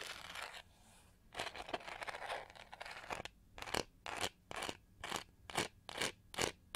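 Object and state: Plastic detangling hair brush scratched.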